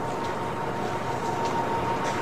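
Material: Nothing is struck.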